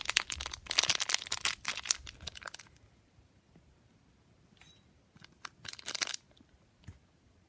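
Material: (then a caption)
Metal foil. A small, sealed and filled pink metallic foil Durex condom packet is pressed and crinkled between the thumb and fingertips, rubbing the foil surface. Dense, bright crinkling and crackling fills the first few seconds, then fades to a quiet stretch with only faint scattered ticks. A shorter burst of crinkling follows near the end, then one last brief crackle.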